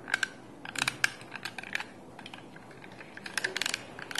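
A small handheld yellow plastic sticky-tape dispenser holding a roll of tape is held in both hands and handled with fingertips and nails. It gives quiet, sharp plastic clicks and taps with a bright, dry tone that stops almost instantly. The clicks come in uneven clusters, with a calmer stretch in the middle before a final burst.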